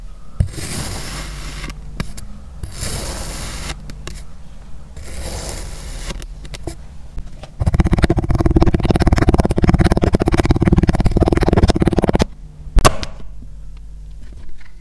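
A rainbow-coated metal knife slices and scrapes through a small, solid purple kinetic sand dome scored in a grid pattern, with a mic mounted near the blade but untouched. Soft, gritty scraping strokes come in separate passes, then a louder, dense crunching stretch follows, ending with a sharp knock. The sand dome is cut apart.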